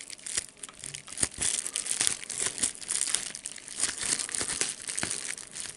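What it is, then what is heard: Plastic bubble wrap being crumpled and popped. A clear plastic bubble wrap sheet with small air-filled bubbles is held up in both hands while the fingers crumple and pop it. Bright, dense crinkling runs throughout, cut by sharp, quick pops that die away at once. There is almost no low end.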